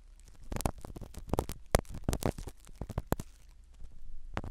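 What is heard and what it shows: A black spiral ear pick scratches the foam cover of a small black microphone set inside a silicone dummy ear. The result is a series of muffled, low rumbling scrapes with brief bright crackles on the strongest strokes, separated by quieter rustling.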